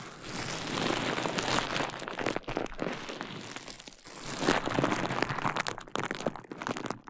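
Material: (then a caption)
Plastic. A large sheet of clear plastic bubble wrap is draped over a KU100 microphone while hands squeeze and pop its bubbles. Dense crinkling and crackling is broken by sharp, irregular pops. There are two busier bursts, with a brief quieter dip just before the four-second mark.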